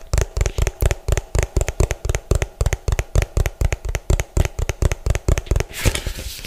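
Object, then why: Plastic food container. Fingernails tap fast and unevenly on the bottom and side of an orange hollow plastic food container, giving about 32 short, dull, low knocks with brief bright clicks on top. The clip ends with a soft, breathy hiss instead of taps.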